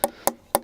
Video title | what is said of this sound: RRV Canola Disk FAQ - Part 1 | when you install your discs if you tap it if you can hear that noise it's too loose